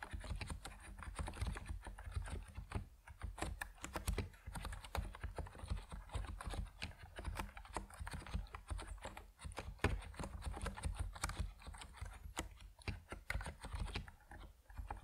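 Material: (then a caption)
PBT plastic. Fingertips of both hands type steadily on an Epomaker NiZ Plum Atom 68, a 68-key compact mechanical keyboard with white and purple PBT plastic keycaps resting on a wooden desk. Dense, continuous key clicks and clacks run throughout, with a deep, thocky low end and short, quickly fading strikes.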